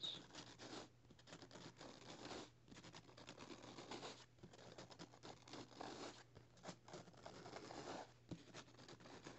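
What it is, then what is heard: Paperback book pages being scratched. Both hands rub and scratch the thin paper pages of an open paperback novel lying flat, working near the spine with fingertips and nails. The result is a quiet, continuous dry rustling and scratching in uneven bursts, bright and papery, over a faint steady low hum.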